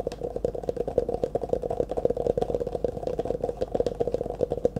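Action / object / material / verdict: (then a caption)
tap / thin plastic cup / plastic / none. An empty, hollow disposable clear plastic cup, held in both hands in front of the face, is tapped and scratched rapidly with the fingertips and nails. Quick, dry taps with a hollow, mid-pitched ring around 490 Hz repeat in a steady flurry, mixed with light scraping and clatter.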